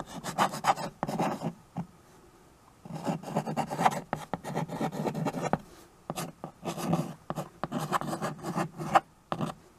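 A white chalk stick, held in one hand, writes and scratches across the black surface of a small handheld chalkboard with a rustic wooden frame, a flat solid board held in the other hand. Quick raspy, scratchy strokes come in bursts with short pauses between them, mostly in the lower and middle range with little high hiss. Each stroke stops cleanly with no ring.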